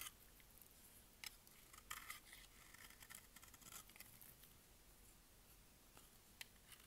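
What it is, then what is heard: Dry bar soap shaved with a blade. A utility blade scrapes and shaves the surface of a solid, dry green bar of soap held in the palm. The result is a quiet, continuous dry scratching with bright, crisp peaks as the blade catches.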